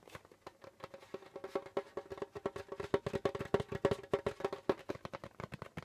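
Fingertips of both hands rapidly tap the skin head of a hollow djembe drum with a wooden shell. About 40 short, dry, irregular taps ring with a mid-pitched tone near 390 Hz, each decaying almost instantly, with soft bright clicks on top.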